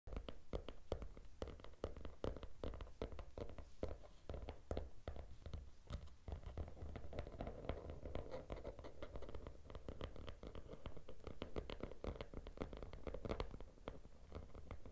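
Fingertips and short nails scratch and tap the teal glitter cover of a small, closed hardcover notebook lying on a red cloth. The result is a steady stream of dry, crackly scratching broken by many quick, sharp taps that die away almost instantly, over a constant low rumble.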